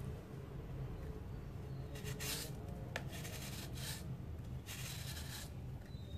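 A steel kitchen knife shaves powder off the flat face of a palm-sized, solid round disc of hardened dry grey cement held in one hand over a basin. Repeated dry, bright scraping strokes come in short bursts, with one sharp tick partway through, over a steady low rumble.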